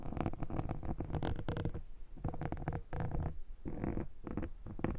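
Fingers scratch a black foam microphone windscreen, then a metal pick scrapes across the foam. It makes dense, rough scratching in quick bursts, heavy in low rumble with some brighter scrape, separated by brief pauses.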